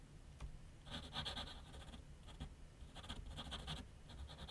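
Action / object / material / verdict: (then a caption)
scrape / graphite pencil on a paper sheet over a flat board / paper / none. A graphite pencil scratches short sketch strokes across a large white paper sheet mounted on a flat board on an easel. Quick bursts of dry, bright scratching come in clusters over a steady low background rumble, with brief pauses between groups of strokes.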